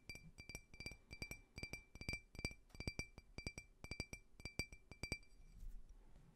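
A small, clear, faceted glass drinking tumbler, hollow and empty, is held sideways and tapped with fingernails in a quick, uneven rhythm. It gives about 26 short, bright clinks with a glassy ring near 2.3 kHz and high overtones, each dying away almost at once. Faint low rustling sits underneath the taps.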